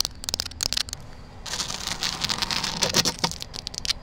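Long black nails tap and scratch across the woven surface of a large, hollow, grey synthetic rattan wicker planter outdoors. A few crisp, dry taps come first, then a denser run of bright, scratchy rasping with sharp clicks. Each sound is high and papery, with no ring after it.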